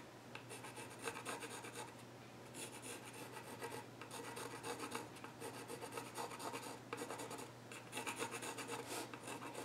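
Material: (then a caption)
Wood. A pencil tip is rubbed and scratched across the flat top of a solid, reddish-brown, grained wooden child's stool while sketching. Quiet, bright rasping strokes come in uneven bursts over a steady low hum.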